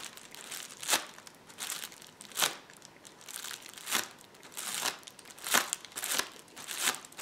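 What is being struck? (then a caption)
Plastic bubble wrap roll. A rolled roll of clear plastic bubble wrap lies on a table as fingertips press and scratch across the bubbles. Bursts of bright, dry crinkling and crackling swell and fade in an uneven rhythm, with almost no low end and no ring after each scrape.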